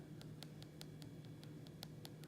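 A metal, donut-hole-shaped blast-wound insert set into a lifesize silicone T-1000 bust is tapped in a quick, even series of light, bright ticks over a low steady hum. The wound is metal all the way across, not painted silicone.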